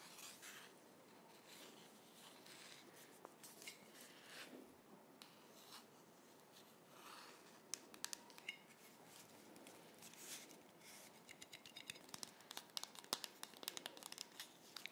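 Long orange nails scratch and tap along the printed paper label (pineapple/peach design) of a closed, cylindrical metal tea canister with a silver metal lid, holding tea, held in both hands close up. Quiet, bright, papery scratching and rubbing runs throughout, with short, sharp taps growing denser toward the end.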